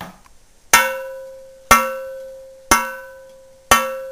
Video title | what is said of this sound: Testing for Cracked Cast Iron pans | It has a ring. It's not cracked.